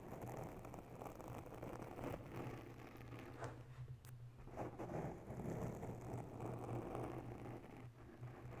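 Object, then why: Foam microphone windscreen. Long bare nails slowly scratch and tap the top of a round grey foam windscreen covering a mounted microphone. The result is a soft, continuous rustling scrape with occasional faint taps over a steady low hum.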